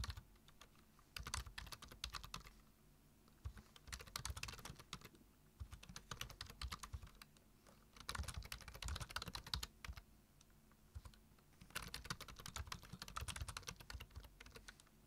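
Both hands type with their fingertips on a black plastic computer keyboard, tapping the keys in quick, bright clicking bursts. The bursts are separated by short pauses, with a faint steady low hum underneath.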